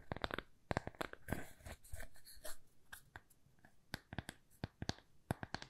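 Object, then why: Small thin plywood coaster. A small, thin, solid square plywood coaster is held and turned in the hands while being tapped and scratched with long nails. Sharp, dry clicking taps with almost no ring alternate with softer, hissy scratching and brushing. The taps come in quick bursts with short pauses between them.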